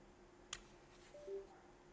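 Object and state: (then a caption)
Mechanical keyboard with ABS keycaps. A fingertip presses a single key on a 65% mechanical keyboard with Cherry Vintage Black switches, red and black GMK ABS plastic keycaps and an aluminum plate. One short, sharp, bright click sounds with almost no ring. A faint tonal hum follows in a quiet background.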